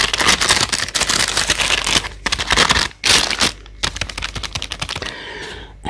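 Long acrylic nails on a gloved hand tap quickly on a full, clear plastic bag of about 1.5 kg of solid Elstar apples, hitting both the bag and its paper label over the fruit. The result is a rapid, crisp, clicky rattle with bright crinkly plastic in short bursts and brief pauses, ending in a softer rustle.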